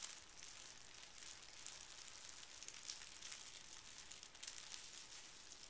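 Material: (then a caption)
Paper. Folded pink tissue paper lying on carpet is creased and smoothed with fingertips and a flat palm, producing a quiet, steady crinkling rub. The sound is bright and airy, concentrated in the high range, with small crisp crackles rising out of the continuous rustle.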